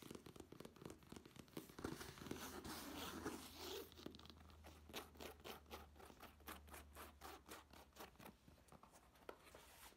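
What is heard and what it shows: Fingertips and nails tap and knock on the fabric-covered panel of a black nylon case held upright and tilted. A rough, scratchy rustle over a low steady hum gives way to quick, dull knocks in an uneven rhythm. The taps sound soft and muffled, with no ring after each one.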